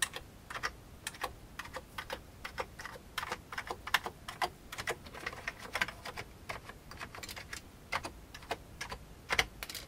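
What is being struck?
Plastic computer keyboard.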